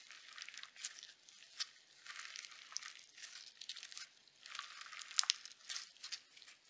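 A small lump of pink sequin slime is squeezed and folded by fingertips with painted nails. It gives off quiet, bright crunchy crackles in a steady run of bursts with short sharp pops and no low end.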